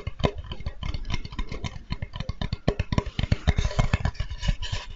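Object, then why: Flat wooden cutting board. A flat, light wooden Spätzle board with engraved lettering, solid, is held upright and tapped with the fingertips. The result is a rapid, irregular run of short, dull knocks with a low, woody thump and almost no ring.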